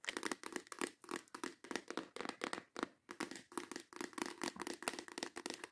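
A clear plastic organizer box holding nail tips is tapped and scratched fast with long acrylic nails and tilted. The result is a quick, continuous run of bright, dry clicks and scratchy bursts with almost no low end. Brief gaps fall around 1.6, 2.8 and 3.9 seconds.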